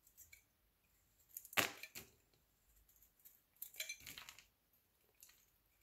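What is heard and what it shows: A solid, elongated beige-yellow soap bar held in the fingers is shaved and scored with a metal utility knife blade. The result is quick, dry scraping and crisp, bright cutting sounds in short bursts. The loudest strokes come near the middle and toward the end.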